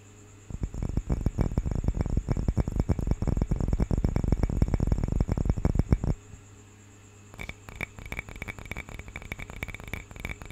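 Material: Wood.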